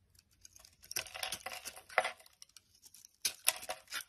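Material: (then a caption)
Glycerin soap. A utility knife blade carves and scrapes the surface of a solid, translucent amber glycerin soap bar held in the hand, breaking off chunks and curls. Soft, crisp scraping and crackly bursts come in quick, irregular clusters, bright and dry with almost no low end and very little ring.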